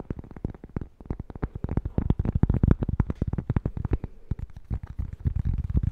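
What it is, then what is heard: Cork-backed coaster. A small, flat, solid square cork-backed coaster is held in both hands and tapped fast with fingertips and nails near the mic. The result is a rapid, irregular stream of dull, deep thuds that stop almost instantly, with little brightness and some faint clicky edges.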